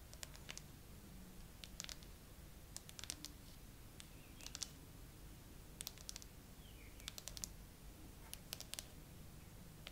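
Long acrylic nails tap quickly across the frosted glass back of a gray iPhone with no case, mounted on a tripod, including near the camera bump. The taps come as short, bright, dry clicks in quick clusters with almost no ring, over a low, steady background rumble.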